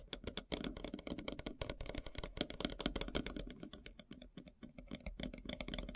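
Long silver nails tap rapidly across the edges and center of a large, solid, flat slice of light-colored wood with a bark edge. The result is a dense run of short, dry clicks with bright tops and very little ring, over a steady low rumble.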